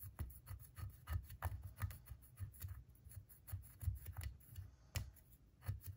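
A wooden pick scrapes and scratches at a solid plaster gemstone dig block around the embedded gems, leaving plaster dust. Quick, irregular rasping strokes, about three per second, each carry a dull low thump beneath a thin, bright scratch, and each stops short with little ring.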